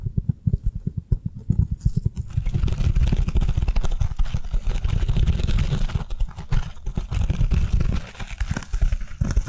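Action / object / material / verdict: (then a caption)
tap / foam kitchen sponge / foam / none. Long nails tap and scratch a handheld avocado-shaped foam kitchen sponge, turned to show its green scouring side. Quick, soft, dull taps open the clip, then give way to a dense, steady scratching and rubbing that stays mostly low and muffled. Short bursts of tapping return near the end.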